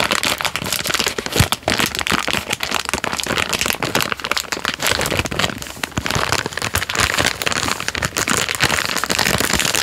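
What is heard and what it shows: A full Jammie Dodgers Unicorn biscuit packet in a plastic film wrapper has its loose wrapper end and body crinkled and rubbed with fingertips. The result is a continuous, dense, bright crackle of many short crinkles that stop almost instantly, with little low end and a steady level throughout.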